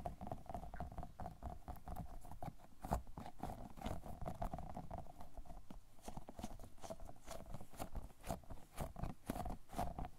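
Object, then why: Soft polyurethane foam squishy toy. An orange-yellow, round, fruit-shaped squishy toy made of solid soft polyurethane foam is squeezed and tapped with the fingertips. It gives a steady run of soft, dull, low-heavy taps and muffled squishes with a faint crackle. Each touch dies away almost at once.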